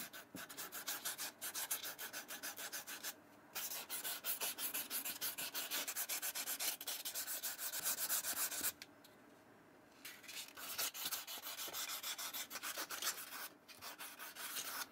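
A black and white Vans slip-on shoe with a suede upper is held in the hand while fingertips rub a small piece of fine sandpaper over the suede heel and upper. Quick, steady back-and-forth strokes make a dry, bright, hissing scratch, with short pauses near 3 and 13.5 seconds and a longer quiet gap around 9 to 10 seconds.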